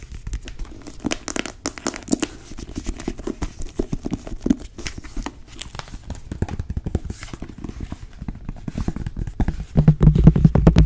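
A thick, solid navy cloth-bound hardcover book is tapped with long nails on its cover and page block, and the book is opened. Rapid, uneven dull taps and soft papery crinkling scratches carry mostly low, muffled tones with very short ring. The sound grows louder and heavier in the last second.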